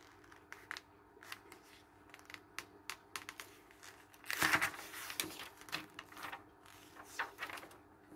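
Fingertips turn the thin pages of an open glossy paper magazine lying on a wooden table and smooth them flat with a rub. Soft, crisp paper ticks and rustles come in short separate bursts, with a louder, bright swishing sweep of a page turn near the middle before the quiet flicks and rubs resume.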